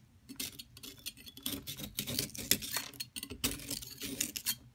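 A hand with long silver nails steadies a solid yellow plaster excavation block while a metal palette knife scrapes down its surface, grating off powder. The result is a steady run of quick, bright, gritty scrapes with tiny clinks and short bursts of louder rasping, each dying away almost at once.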